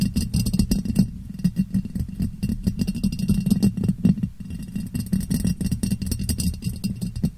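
A clear, ribbed glass jar, hollow and empty, sits upside down over a microphone and is tapped on its sides with long nails. The quick, continuous tapping gives hollow, muffled knocks with a low resonant tone around 195 Hz and faint bright clicks. Each tap dies away almost at once.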